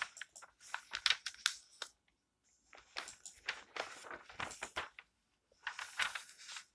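Fingertips with long nails rub across and turn the pages of an open glossy paper magazine with recipe pages lying flat on a table. Bright, crisp rustling and crinkling come in quick, uneven bursts. Three clusters of page sounds are separated by short silent pauses.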